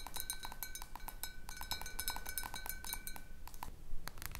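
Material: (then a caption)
Glass. A tall clear glass bottle partly filled with water, standing on a wooden table, is tapped on its side by the long dark nails of one hand. Rapid, light clinking taps follow one another with a faint high ringing tone beneath them.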